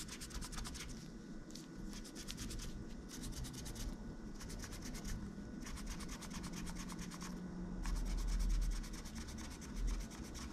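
A pink-gloved hand rubs and scratches between the white plastic keys of a silver laptop with an aluminium-look body, using a cotton swab. Rapid, bright scratchy strokes come in bursts of about three per second over a steady low rumble, with the level swelling slightly near the end.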